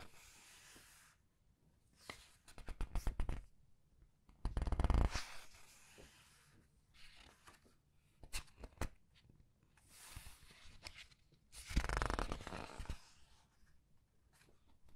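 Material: Paper.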